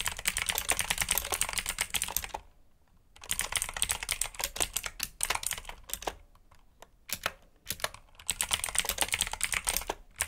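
Fingertips rapidly press the keys of a black mechanical keyboard with plastic keycaps and clicky switches, producing dense bursts of sharp, bright clicks. The typing comes in flurries separated by short pauses, with each click cutting off almost instantly.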